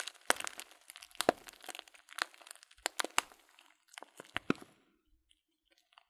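A full, clear plastic bag of loose dried fruit tea is held upright while fingertips squeeze and crunch the contents. Sharp, bright crinkling and crackling bursts come in irregular clusters, each snapping off almost instantly with little low end. The sounds thin out to a few faint ticks by the end.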